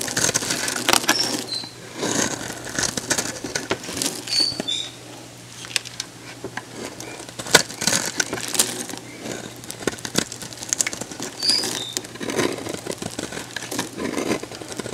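A hand-sized, solid orange-peach oval bar of dried soap, held in one hand, is sliced with a metal box-cutter blade into crunchy shavings. Dense, bright, crisp crackling and scraping come in bursts that swell and fade over a faint steady low hum.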